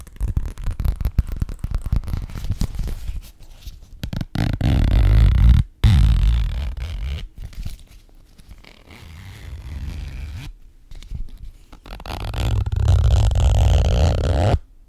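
A frosted, translucent plastic Sephora zip pouch is held in the hand while its zipper is pulled open and closed. Rapid ticking zipper clicks open the clip, followed by louder, low, rumbling plastic handling with brief pauses. The sound then drops to a quieter stretch before swelling again near the end.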